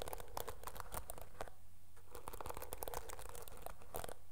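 Long nails scratch the dark bristles of a teal plastic hairbrush, giving a dense, crackly run of quick scratches and clicks. The texture is bright, steady and close, over a constant low hum.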